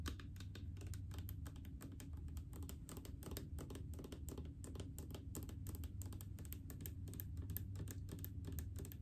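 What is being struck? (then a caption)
Plastic mouthwash bottle. Long painted fingernails tap rapidly on a large blue plastic mouthwash bottle full of liquid. The result is a quiet, steady stream of short, dry clicking taps with bright edges over a constant low hum.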